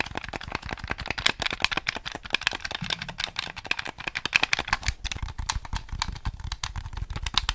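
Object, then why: Hard-plastic game controller. A grey, hollow hard-plastic Nintendo 64 controller, hand-sized with colored buttons and an analog stick, is held close to the mic and rapidly tapped, scratched and clicked by fingertips and nails. The result is a dense run of sharp, dry plastic clicks and ticks, mostly bright and high with a little low thump, and they die out almost instantly with no ring.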